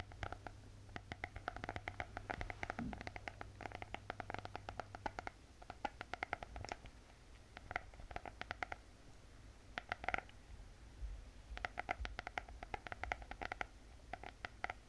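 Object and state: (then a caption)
Spiral notebook with hard cardboard cover. A closed spiral notebook with a glossy hard cardboard cover is tapped and scratched with long painted fingernails. Dense bursts of quick, dry clicks sit in a tonal band near 1.4 kHz, with scratchy brushing between them and a low steady hum underneath.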